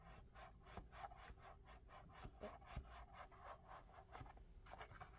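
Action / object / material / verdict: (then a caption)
scrape / molded foam clog with strap / foam / none. Fingertips rub and tap the foam surface and strap of a lavender molded-foam clog held close up. Quick, soft rasping strokes repeat in a steady rhythm over a low rumble, with a few duller taps mixed in.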